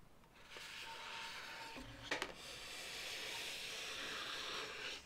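Long nails rub, scratch and squeeze a blue inflated, hollow latex modelling balloon, making a steady bright, hissing friction sound. Two sharper squeaky scrapes stand out near the middle before the rubbing continues at an even level.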